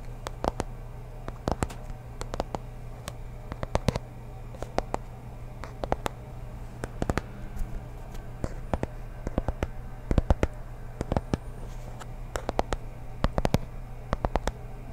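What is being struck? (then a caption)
Small cardboard box. A small, hollow, teal rectangular cardboard packaging box is held in one hand close to the microphone while the fingertips and nails of the other hand tap and scratch it. The result is a steady stream of sharp, dry clicks and brief scratches over a constant low hum.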